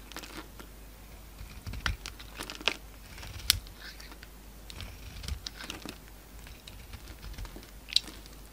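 A metal utility knife blade with a pink handle shaves and carves curls off a solid oval bar of soap with a pale peach core and a dark green-black outer layer, held in one hand, as shavings pile on a wooden table. Soft, crinkly scraping runs throughout, broken by several sharp, bright clicks of the blade cutting through the soap.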